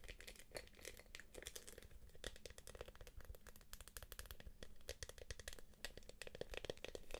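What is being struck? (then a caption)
Soft PVC quilted purse. Long acrylic nails tap and scratch the quilted surface of a small, empty-looking light-blue purse made of soft PVC jelly plastic with a gold clasp. Quick, dry clicking taps come in dense bursts over crinkly, bright scratching, with each tap dying away almost at once over a low, steady background hum.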